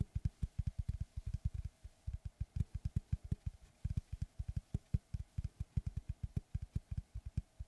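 Fingertips and short nails tap and scratch the cut face of a large, round, solid wood tree slice board with a bark edge, held upright. About 38 quick, dull, low thuds sound in an uneven rhythm, each dying away almost instantly, with faint bright scratching between them.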